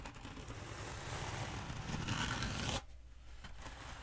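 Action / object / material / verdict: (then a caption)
scrape / foam pool noodle / foam / none. Long nails scratch and tap the surface of a long black hollow foam pool noodle held upright close to the mic. A dense, dry scraping rasp with a low rumble builds for almost three seconds, then cuts off abruptly. After that, only a few quieter, scattered taps and light scratches remain.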